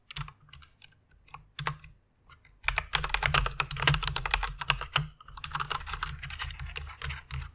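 Fingertips and long nails type rapidly on a white plastic mechanical keyboard with RGB backlight. Sparse, scattered clicks open the clip, then a dense, uneven burst of sharp, bright clacks with a low thud under each keystroke follows. After a brief pause the typing resumes at a softer, steadier pace.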